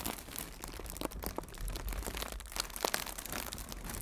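Fingertips with red nails crinkle and squeeze a hollow strip of blue plastic air cushion packaging. A continuous, dense crinkling is heard, broken by sharp, bright crackles and a few louder snaps over a low rumble.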